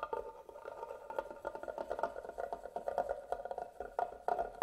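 A medium carved wooden box with a closed lid, likely hollow, is held in one hand while the tip of a black pen-like tool scratches and taps across its carved lid pattern. The result is a quick, dry series of clicks and scrapes with a hollow midrange tone around 720 Hz, each hit dying away almost at once.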